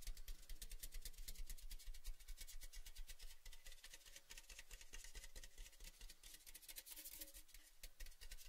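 Fingertips rub and scratch the outer surface of an empty, hollow, orange-painted metal Baileys tin canister held open end out. Dense, fast, irregular scratchy taps with a bright, crackly texture sit over a steady low hum.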